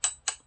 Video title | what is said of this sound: tokyo marui AK STORM AEG 실총? 반동? 조작? 가능한 전동건이 있다고? | it sounds like metal. This is metal.